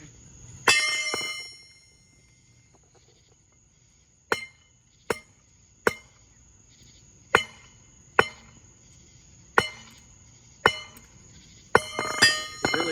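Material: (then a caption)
Steel. A steel camshaft is struck repeatedly, giving a series of sharp, bright metallic clangs with short ringing tails and irregular pauses between them, over a faint steady high tone. The hits bunch together at the end, and the camshaft proves durable and does not break.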